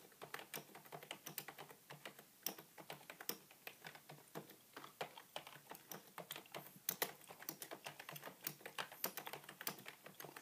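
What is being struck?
Plastic computer keyboard.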